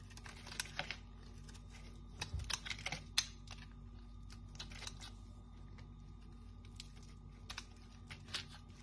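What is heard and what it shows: A palm-sized solid bar of dry pink-and-white striped soap, held in the hand, is scraped and shaved with a small metal knife, and crisp flakes fall onto the table. The sound is a steady run of short, dry, bright scratchy crackles over a low, quiet hum, with a few sharper clicks standing out. Each crackle stops almost at once with no ring.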